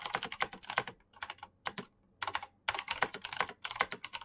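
Fast fingertip typing on a black Razer mechanical keyboard with plastic keycaps and clicky switches. Bright, crisp clicks come in quick bursts, separated by a couple of short pauses.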